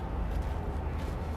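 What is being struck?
Nothing is struck.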